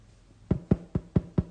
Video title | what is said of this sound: Transfer your pattern for the Fall Yall SAL | you should be able to tap on it and hear it like a drum that's how tight we want it